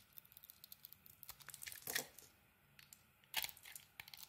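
A utility blade carves the edges of a solid green glitter bar of soap, making a quick, uneven series of crisp, bright scraping ticks. Two longer, louder shaving strokes rasp through near the middle and toward the end, and each sound cuts off almost at once.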